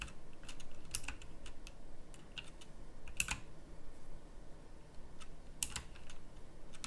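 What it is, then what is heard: Plastic mechanical keyboard being typed on. Slow fingertip typing on a pink plastic mechanical typewriter-style keyboard with round plastic keycaps. It makes a steady run of short, sharp, bright clicks that end almost instantly, over a low, dull background hum.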